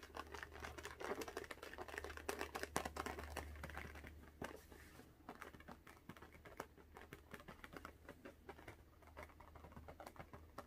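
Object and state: Latex balloon.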